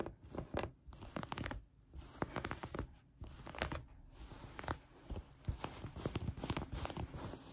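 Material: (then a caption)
Fabric. Long painted nails scratch and pinch green knit fabric folded flat on a table. The result is quiet, dry, rasping scratches in quick irregular bursts with short pauses between them, carrying soft low thumps and a brighter fuzzy texture.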